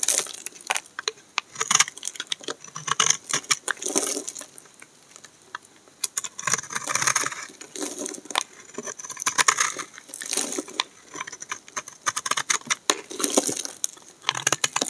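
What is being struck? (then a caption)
Bar of soap cut with a knife blade. A hand-sized, solid peach-orange bar of dry soap is held in one hand and shaved with a utility knife blade in scraping, cutting strokes as flakes fall away. The result is a steady run of crisp, bright scratching and crackling. There is almost no low end, and the quick clicks of each stroke cluster into bursts.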